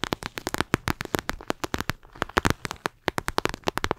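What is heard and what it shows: A flexible clear plastic eye mask filled with gel beads is held close to the microphone and squeezed and scratched with long acrylic nails. The result is a rapid, irregular run of sharp, dry clicks and crackles with bright, crisp tops, each ending almost instantly, over a brief quieter stretch in the middle.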